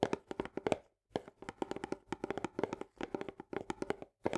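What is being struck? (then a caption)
Paperboard canister with plastic lid. Long fingernails tap and scratch quickly on the top edge and green plastic lid rim of an Orzo Bimbo barley canister, a medium paperboard tube held in the other hand. Rapid bursts of dry, clicky taps with a hollow mid tone around 400 Hz die away almost instantly, broken by brief pauses near one second and just after four seconds.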